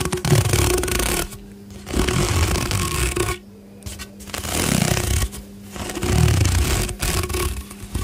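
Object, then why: Corrugated plastic pop tube. A long, hollow pink corrugated plastic pop tube toy is held in both hands, and fingers bend it and pull it straight while rubbing and scraping along its ridged surface. Loud bursts of dense, low-heavy rubbing and ridged scraping alternate with quieter stretches where a faint steady hum remains.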